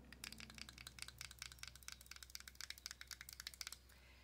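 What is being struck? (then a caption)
Small plastic powder jar with screw lid. Long dark nails tap and scratch the lid and sides of a small, hollow, round peach e.l.f. plastic powder jar with a screw lid, held in both hands. About two dozen quick, bright, clicky taps sound over a low steady hum, then stop shortly before the end.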